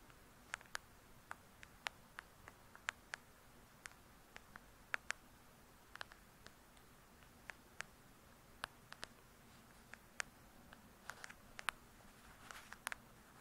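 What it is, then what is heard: Hardcover book tapped with fingernails. Long pointed acrylic nails on both hands tap the glossy paper-covered cardboard cover of a thick, solid hardcover book lying flat. About 33 quiet, sharp, bright clicks with almost no ring are spread unevenly over a soft, steady background hiss.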